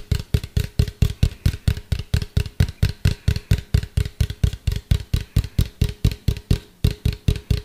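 A medium hollow white plastic cylindrical container, held upright and then tilted, is tapped with fingertips and nails in a steady, rapid rhythm of about 34 taps. Each tap is a short, deep, hollow thud with a faint bright click from the nails on top, dying away almost at once.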